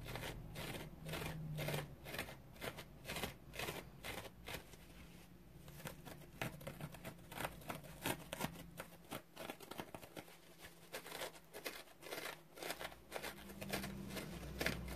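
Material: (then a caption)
Synthetic foam. Fingernails scratch and dig into a large, dry, porous yellow synthetic foam sponge. Quiet, uneven bursts of crisp, crunchy scratching repeat roughly once a second, with bright, rasping texture over a faint steady low hum.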